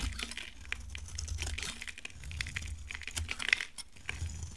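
A solid, light orange bar of dry soap is shaved with a utility knife, and flakes fall away. Rapid, dry, crisp scraping ticks and clicks sit around 2 kHz with bright edges, over a steady low rumble. Each tick stops almost instantly with no ring.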